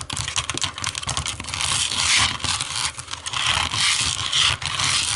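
Long nails tap and scratch the smooth back of a small, hollow black plastic remote control lying face down on a wooden table. The result is a continuous stream of bright, crisp clicks and scraping rasps with little low end.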